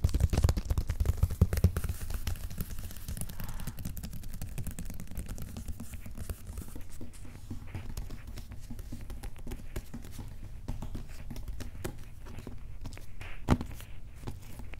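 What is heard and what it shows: A large, empty-sounding corrugated cardboard shipping box with a paper shipping label on top is tapped and scratched with fingertips and short nails. Rapid, dull, hollow taps mix with soft scratching. The sound is strongest in the low end and fades quickly after each tap.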